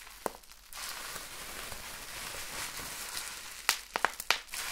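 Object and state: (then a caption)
Bubble wrap being popped. A clear, air-filled plastic bubble wrap sheet is held in the hands and pinched and squeezed with the fingers, popping its bubbles. A single sharp pop comes first, then soft, steady crinkling, then a quick cluster of bright, snappy pops near the end.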